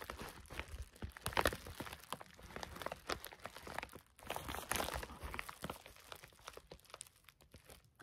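A white, flat, thin padded plastic bubble-lined mailer is held in both hands and crinkled and squeezed with fingertips and short nails. A dense run of sharp crinkling and crunching snaps fills the clip, with brief quieter gaps around four seconds and toward the end.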